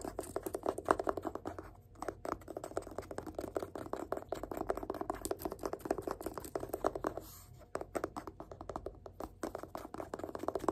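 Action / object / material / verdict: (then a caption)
tap / paperback book spine / paper / none. A fingertip rapidly taps and scratches along the spine of a yellow paperback book held in one hand. The result is a dense stream of short, dry, mid-toned clicks and scrapes, with brief pauses near 2 and 7.5 seconds.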